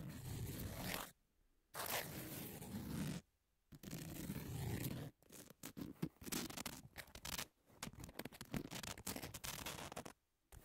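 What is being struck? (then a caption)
Emery nail file. Long nails scratch back and forth across the surface of a long, thin, flat, solid emery nail file with a pink edge. Three sustained, gritty scraping strokes are separated by short silences, then give way to quicker, choppy scratches. The rasping is broadband and hissy, with a strong low body and bright upper texture.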